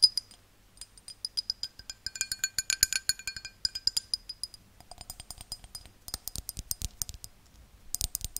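A tall, empty, hollow pink-tinted drinking glass held in the hand is tapped and scratched with long dark-painted nails. Dozens of quick, bright, high-pitched clinking taps ring only briefly, then give way to short, hissy scratching bursts near the end.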